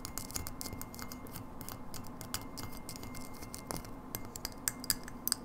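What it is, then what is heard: Frosted glass light bulb. Long nails tap rapidly on a hollow frosted glass light bulb with a metal base, striking both the glass and the area near the base. The taps are quick, bright clicks with a faint high ring that dies almost instantly, over a steady low background hum.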